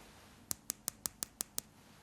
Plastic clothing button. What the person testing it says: hit it with your nail and then it's going to have that very plasticky sound. Just like your Tupperwares.